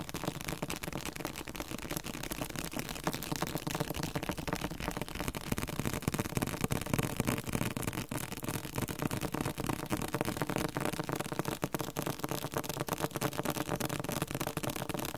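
A thick, solid yellow-green hardcover dictionary with a glossy coated cover is held upright and tapped on its front cover with fingertips. Rapid, uneven taps make short, dull, low knocks that die away almost instantly, running steadily for the whole clip.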